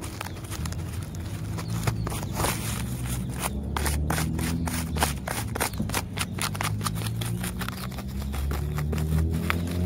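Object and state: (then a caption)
Tree trunk bark, scratched. Fingertips and nails scratch and rub the rough, peeling bark of a large solid tree trunk. The result is a steady run of dry, scraping strokes with sharp bright clicks over a low rumbling background. The strokes come in quick but uneven succession.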